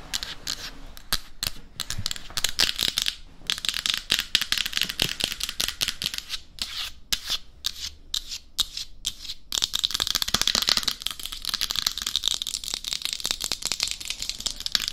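Very long acrylic fingernails tap rapidly on the cheeks, face and top of a head-sized, hollow, matte black hard-plastic mannequin-style binaural dummy head microphone. The result is a dense, fast run of sharp, bright clicks with almost no ring, growing busier and more continuous in the second half.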